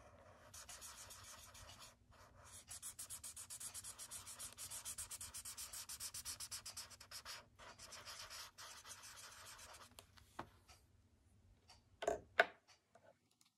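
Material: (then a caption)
Paper. A thick blue felt-tip marker draws and rubs colour into a shape on a white paper sketchbook page resting on a wooden desk. Quick, steady back-and-forth strokes make a bright, scratchy hiss that fades at moments. The scratching stops near the end, followed by a few louder, sharp sounds.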